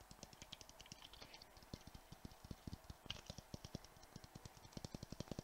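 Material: Glass.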